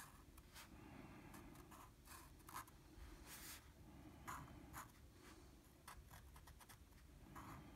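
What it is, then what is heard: Marker strokes on drawing paper. A blue felt-tip marker fills in small shapes on a flat sheet of drawing paper, its short coloring strokes rubbing across the paper surface. The strokes come as quick, soft, scratchy bursts with a bright edge over a steady low hum, and the whole clip stays quiet.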